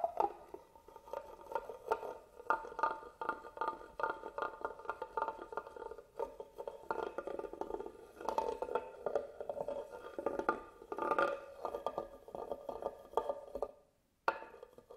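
The tip of a black pen-like tool traces and scratches the deep carvings of a medium carved wooden box, likely hollow, with a closed lid, resting on a table while the other hand steadies it. A dense run of quick, dry scratches and ticks sits in the midrange, with a brief silence near the end before the scratching resumes.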